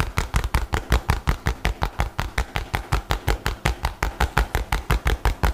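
A light blue nylon bag rolled into a tube is scratched and tapped with fingernails in a fast, steady rhythm. About 30 short, distinct taps land roughly evenly, each a dull low thump with a brief crinkly rustle on top.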